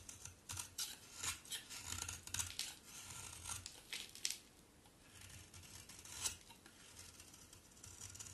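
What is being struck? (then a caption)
Solid bar soap shaved with a thin blade. A solid pink bar of soap is shaved with a utility knife blade, and the flakes fall onto a pile. Quiet, bright scraping strokes come in bursts of crisp shaving, with soft rustling as the flakes drop.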